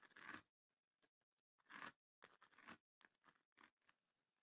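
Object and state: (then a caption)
Wooden chest with woven rattan panels, scratched. Long nails scratch across the woven lid and front of a small, closed, hollow wooden chest with woven rattan panels. Dry, rasping scrapes come in uneven bursts of varying length, bright and papery, with short quiet gaps between strokes and almost no low end.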